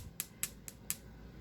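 A pearl is tapped four times, giving short, sharp, bright clicks with almost no ring, over a low background hum. The hard clicks sound like stone, and the verdict is that the pearl is stone too.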